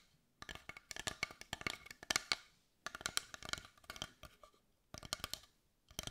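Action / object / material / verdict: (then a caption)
tap / carved wooden heart tapped with fingernails / wood / none. Long white nails tap and scratch the grained surface of a large carved, dark brown wooden heart held in the hands. Three bursts of rapid, dry, bright clicking taps are separated by short silences, each tap dying away almost instantly.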